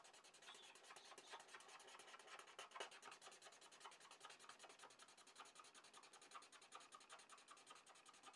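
A red felt-tip marker tip rubs rapidly in short strokes across a sheet of drawing paper to color in a shape. The result is a steady, dense run of quick, bright scratchy rasps with no low end, continuing for about eight seconds.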